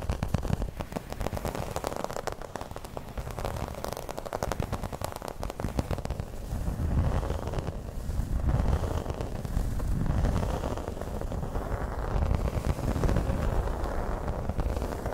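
Long red nails scratch the surface of a flat, round, dark green embossed placemat, probably vinyl. The result is a dense, continuous crackling scratch with a heavy low rumble, growing louder in waves partway through.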